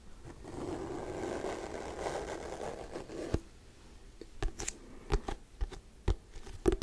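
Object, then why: Hardcover paper book with glossy cover. Fingernails scratch slowly along the glossy cover of a hardcover paper book, making a soft, continuous low-mid rasp for about three seconds. This is followed by a few sharp, quick taps with brief scratches between them.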